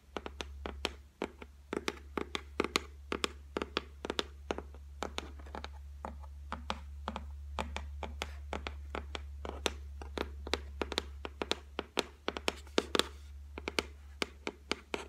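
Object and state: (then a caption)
Laminated shelf, solid. Long white nails tap and scratch across the flat, solid top of a white laminated shelf. The result is a rapid, irregular run of short, dry, bright clicks that die away almost instantly, with faint scratching between them over a steady low hum.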